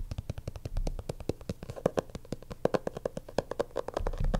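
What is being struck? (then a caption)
Stitched leather portfolio cover. A black stitched leather portfolio lies flat on a desk while its cover is tapped and scratched with fingertips and nails. A rapid, uneven series of short, dull taps with a soft low thump is heard, broken by brief stretches of scratchy rubbing. Each tap dies away almost instantly.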